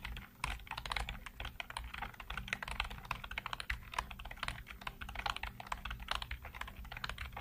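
Fingertips type rapidly across a full-size black plastic keyboard with hollow keycaps, giving a dense, continuous stream of short, sharp clicks and taps. The clatter is bright and crisp, with a steady low hum underneath throughout.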